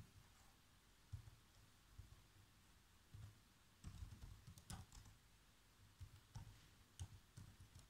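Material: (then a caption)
Plastic. Fingertips type on the black plastic keys of a laptop keyboard, producing repeated soft key taps. The taps come as quiet, scattered clusters of short, dull clicks with a low thump and brief bright ticks that die away almost at once, separated by near-silent pauses.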